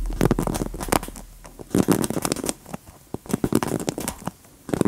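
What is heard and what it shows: Long nails scratch the plastic bristles of a large wooden paddle hairbrush and tap its smooth, solid wooden back. The result is a string of short, dry scratchy rasps and dull clicky taps in uneven bursts, with brief quiet gaps between them.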